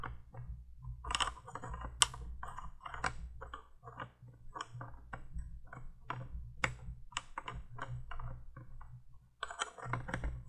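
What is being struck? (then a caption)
Small plastic candle-light bulb tapped with fingernails. Long nails tap and scratch a small orange plastic flame bulb on top of the plastic candle tube of a 1980s window light. The result is a quick run of light, dry plastic clicks over a steady low hum.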